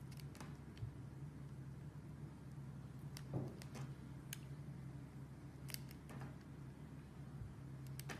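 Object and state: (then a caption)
Glycerin soap bar being carved. A box cutter scrapes and carves the surface of a solid square white-and-pink glycerin soap bar with embedded hearts, held in the hand. Short, crisp, bright scraping clicks and cuts come at irregular intervals over a quiet, steady low hum.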